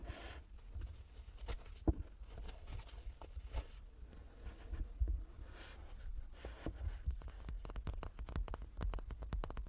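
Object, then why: Small wooden cube. A small wooden cube is tapped repeatedly, giving quiet, dull, short taps with almost no ring. The taps come irregularly at first, then grow faster and sharper over the last few seconds, above a low, soft rumble.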